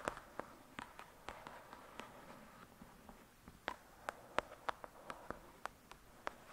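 Long pointed dark red nails tap and scratch the glossy card cover of a thick paperback novel, a solid paper block resting on a fluffy surface. Seventeen quiet, sharp clicks land at an irregular pace, each a dry tick that dies away instantly, with soft scratchy rustling in between.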